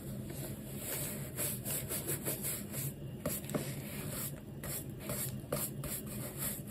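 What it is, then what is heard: Rubber shoe sole brushed. A textured rubber shoe sole, held in the hand, is brushed with a large wooden horsehair brush in a dry rubbing action. The sound is a soft, continuous scratchy bristle rub, dark and low-weighted, with a few brief, sharper scraping accents over a faint steady hum.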